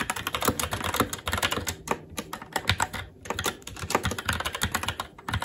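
Fingertips of both hands type continuously on a SteelSeries Apex 7 TKL mechanical keyboard with red linear switches, black plastic keycaps and an aluminum plate. Dozens of rapid, bright, short clacks land with brief lulls around two and three seconds.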